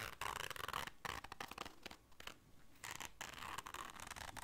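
Long dark nails scratch and scrape the surface and zipper of a small, round, hollow zipper case covered in black fabric. Dry, bright rasping strokes come in irregular bursts with brief pauses. The scraping softens to a quieter stretch near the middle before picking back up.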